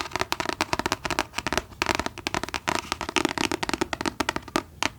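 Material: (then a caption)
Paper. A book is tapped rapidly with the fingers, producing a dense run of short, dry taps with very little ring. The taps shift between deeper and lighter tones as the finger position changes.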